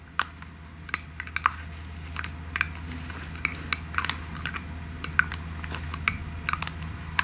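Long nails tap quickly on a pink aerosol can and on its white plastic cap, making a stream of sharp, dry clicks at an uneven pace. Each tap is brief with a bright, hollow ping and almost no ring, over a faint steady low hum.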